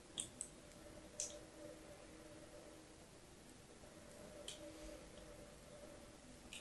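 A blade scores lines into the flat, shaved face of a solid pink bar of soap held in hand. Five short, bright, crisp clicks stand out, spaced unevenly over a quiet, steady low hum.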